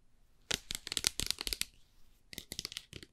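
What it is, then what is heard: Plastic bottle tapped with nails. Fingernails tap and click on a clear plastic bottle with a white flip cap, holding some liquid and gripped in the hands, working over both the cap and the body. About thirteen quick, irregular, bright clicks come in two bursts separated by a short pause, each one crisp and dry with almost no ring.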